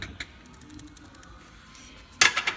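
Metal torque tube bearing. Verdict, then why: Worn. An old, crusty metal Corvette torque tube is shaken by hand, and its worn bearing gives a dry, high-pitched ticking. A couple of faint ticks come at the start, then a quiet stretch, then a sharper cluster of clicks near the end. The ticking means the bearing is worn and the tube is no good.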